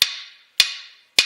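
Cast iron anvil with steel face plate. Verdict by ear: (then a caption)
Dull. A hammer strikes a cast iron anvil with a steel face plate three times, with no chain or magnet to damp it. Each blow is a sharp, bright tap with a brief high ring that fades quickly. The anvil sounds very dull and makes almost no noise, unlike all-steel anvils.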